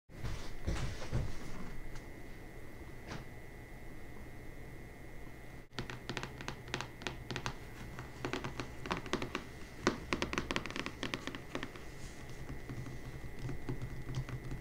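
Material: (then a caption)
Paper, board. Long manicured nails and fingertips tap and scratch across the front cover of a closed hardcover book with a glossy printed paper dust jacket, lying solid and flat on a marble surface. Soft, dull thunks and scraping fill the first few seconds; after a brief dip near the middle, quicker bursts of sharp, bright nail clicks and scratches follow, all over a steady low hum.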